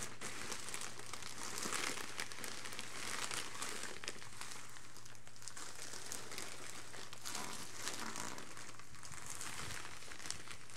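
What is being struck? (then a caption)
Polythene mailer bag. Leather-gloved hands rub, press and crumple the surface of a filled, parcel-sized grey polythene postal mailer bag resting on carpet. The clip is a steady stream of bright plastic crinkling and crackling at an even level, over a faint constant low hum.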